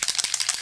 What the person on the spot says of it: you have to shake it. There's like, you can hear the little balls in there.